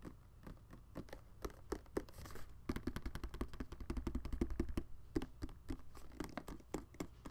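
Fingertips and nails tap and rub the smooth surface of a hand-sized, hollow, glowing red-and-white plastic balloon-animal dog night light, lit from inside, held in both hands and turned close to the mic. Quick, uneven clicky taps with short, dull hollow thumps come over soft scratchy rubbing, with a brief hissy scrape near the two-second mark.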